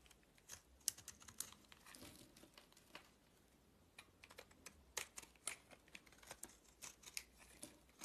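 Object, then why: Bar of soap cut with a blade. A utility-knife blade carves and scrapes a solid white oval bar of soap held in the palm, with shavings falling away. The clip is a quiet run of short, crisp, bright scraping and clicking cuts with dry, instant decay and little low end.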